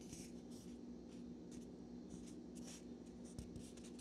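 A small, solid natural cork wine stopper is held between the fingers of both hands while nails scratch and fingertips rub its surface. Quiet, dry scratching and brushing come in short, bright bursts over a steady low hum.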